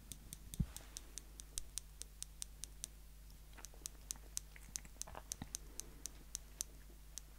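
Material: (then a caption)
Steel. Small steel tweezers held in the fingertips have their tips squeezed together and released, making over thirty quiet, sharp, bright clicks at an uneven pace. A steady low hum sits underneath throughout.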